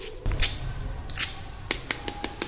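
A spoon taps freshly fried fasting-style potato balls eight times, each tap giving a short, bright, crunchy click. The balls sound and are confirmed fully crispy.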